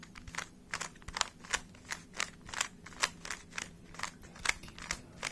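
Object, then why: Plastic 3x3 puzzle cube. A small hollow plastic 3x3 speed cube, a Rubik's cube, is held in both hands while fingertips twist its layers. The result is a steady run of rapid, sharp, bright plastic clicks and light crunches with almost no ring, over a faint low hum.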